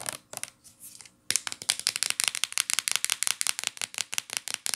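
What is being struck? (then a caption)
Plastic shampoo bottle. Long nails scratch and tap the printed label side and cap of a hollow, medium-size teal plastic shampoo bottle held sideways. A soft, uneven scratching is followed by a steady run of quick, bright, dry clicking taps with almost no ring.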